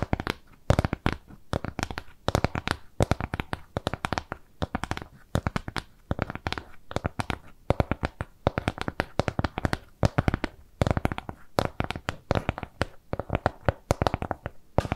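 Long nails scratch and tap a flat, round piece of brown kraft cardboard trimmed with jute. Dense bursts of short, dry clicks and scrapes come in irregular clusters, mostly low and mid in tone with little brightness, and each stops almost instantly without ringing.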